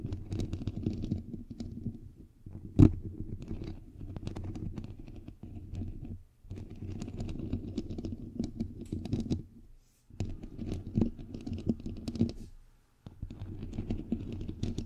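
Long nails rapidly tap and scratch across the bare white perforated metal mesh of a hollow microphone head, producing a dense, close, low-heavy rustling patter with a muffled boom. The activity comes in several bursts separated by brief silences, with one sharp, louder knock early on.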